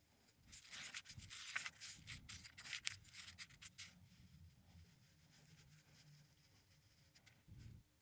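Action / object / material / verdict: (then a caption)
scrape / paperback book with thin paper pages / paper / none. Fingertips rub and slide across the thin printed pages of an open paperback crossword puzzle book lying on a wooden table, with the pages turned along the way. Soft, bright papery rustles and scratchy strokes come in quick, uneven bursts during the first four seconds. They then settle into a quieter, duller rubbing, with a brief low brushing swell near the end.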